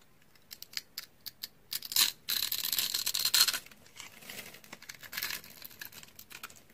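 A utility knife blade cuts and scrapes the surface and end of a blue solid dry bar soap held in a hand with long dark nails. Dry, bright, crunchy scraping comes as short separate scratches, then longer bursts of sustained rasping shavings, with almost no low end.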